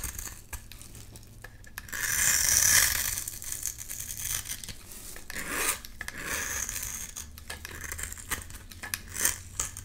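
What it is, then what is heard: Bar of soap being scraped with a blade. A metal blade scrapes and cuts crumbly shavings from a solid, pale-green rectangular bar of soap held in the hand. The sound is bright, dry scraping with many quick ticks, loudest in a long rasping stroke near the start and a few later swells. The strokes end in short, crisp clicks and brief crumbling.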